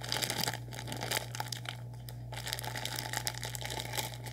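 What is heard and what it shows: A sealed orange Nissin Lámen plastic instant noodle packet, full of dry noodles, is crinkled and squeezed with fingers. It gives a steady run of bright, dense plastic crackles and rustles with small crunchy spikes, over a constant low hum.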